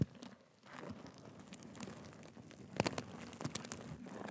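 A black and gold sequin cushion is scratched with nails and fingertips, giving a quiet, continuous crinkly rustle over a low hum. Sharper bright clicks and scrapes cluster near the three-second mark and continue in short bursts as the sequins shift.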